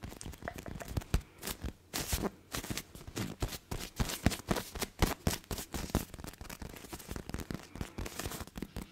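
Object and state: Plush fabric hedgehog toy.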